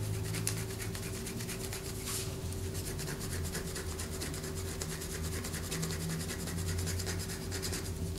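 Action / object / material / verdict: scrape / bar of soap / soap / none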